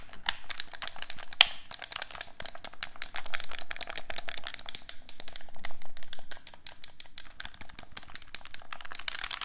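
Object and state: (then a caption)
Plastic game controller buttons clicked. A hollow black plastic handheld game controller, held in both hands, has its buttons pressed and clicked with fingertips and thumbs. The result is a rapid, irregular stream of short, dry, bright plastic clicks with a few louder taps, and the clicks grow softer near the end.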